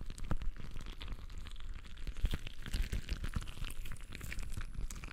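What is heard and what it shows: A palm-sized translucent rubber stress ball full of colored gel water beads is squeezed and kneaded with the fingers of both hands. It gives a steady run of soft, sticky squelches and crinkly, crunching crackles with low thuds underneath.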